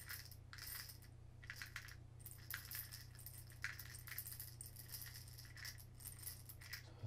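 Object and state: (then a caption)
Glass jar of plastic beads being shaken. A small clear glass spice-style jar with a lid, full of colourful plastic pony beads, is held in both hands and turned and shaken. The beads rattle inside in irregular bright clicking bursts over a steady low hum.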